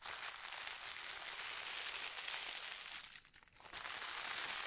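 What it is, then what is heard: Tissue paper sheet being smoothed. A thin holly-print tissue paper sheet spread on a table is pressed and smoothed by fingertips with long nails, making it crinkle. A steady, bright, airy crinkling runs throughout, briefly quieting for a moment near the end before resuming at full level.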